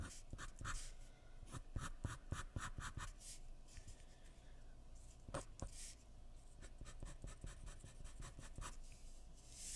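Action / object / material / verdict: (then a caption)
scrape / graphite pencil on drawing paper over a wooden surface / paper / none. A hand scratches a graphite pencil across a sheet of white drawing paper lying flat on a wooden surface in continuous drawing strokes. The quiet, dry scratching comes in rapid bursts with short bright rasps over a steady low rumble, easing in the middle before the strokes pick up again.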